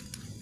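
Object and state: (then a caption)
Fully carbonized coconut shell charcoal. Two pieces of fully carbonized coconut shell charcoal are struck together, giving two short, bright, glass-like clinks over a low background hum. The ringing tone marks the charcoal as fully cooked and of maximum quality.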